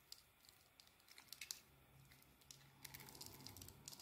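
An oval white bar of soap with a dark coating, held in the palm, is shaved with a small metal blade. Quiet, bright scraping and crisp crackling ticks come in irregular bursts over a low steady hum, with no ring after each cut.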